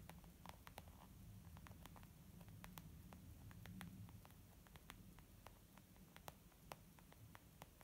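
Long nails tap across a white textured leather zip makeup pouch resting on a wooden table. Quick, dry clicks scatter irregularly over a steady low rumble, each one bright and gone almost instantly. The clip stays quiet throughout.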